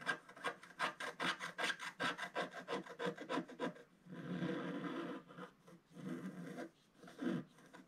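A wooden stylus scratches a fish shape into a solid, flat, black-coated scratch art paper page about A4 in size. First comes a rapid run of short, dry scratching strokes, then longer, steadier rasping scrapes with brief pauses, all with a bright, papery texture.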